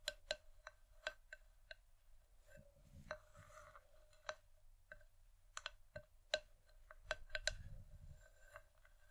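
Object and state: Wooden bowl tapped with nails.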